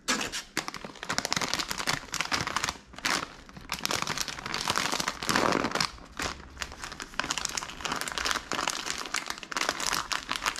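A medium, full SkinnyPop popcorn bag made of crinkly plastic film is held in the hand and squeezed and crinkled with the fingers. The result is dense, bright crackling and crinkling in bursts, with brief quieter pauses between handling.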